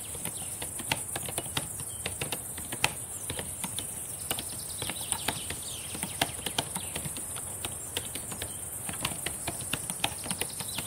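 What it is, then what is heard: Plastic laptop keyboard being typed on. Long painted nails and fingertips type and tap on the plastic keys of a black laptop keyboard, producing a steady stream of quick, sharp, bright clicks with occasional louder taps. The clicks cut off almost instantly over a constant high hiss.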